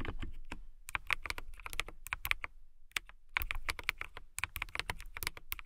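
Long fingernails type fast on a transparent acrylic mechanical keyboard with clear plastic keycaps and RGB lighting. The result is a rapid run of sharp, bright clicks with a clacky tone near 2.2 kHz, a low thud under each press, and a short pause a little past halfway.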